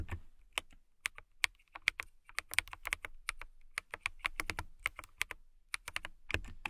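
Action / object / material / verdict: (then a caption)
tap / plastic mechanical keyboard / plastic / none. Long-nailed fingertips type on a clear plastic mechanical keyboard with transparent keycaps, making about 32 quick, bright, clicky taps at an uneven pace. Each tap is sharp and dies out almost at once, with a light thump underneath and a crisp click centred around 2.1 kHz.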